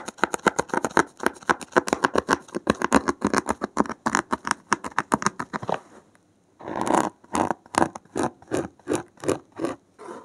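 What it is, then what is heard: Foam block scratched with a needle. A blue-gloved hand pokes a thin metal needle into the top edge of a thick, solid, porous block of dark grey foam and scratches along it. Rapid, dense scratchy strokes run for about six seconds, then after a brief silence come slower, evenly spaced scrapes with a dry, bright texture.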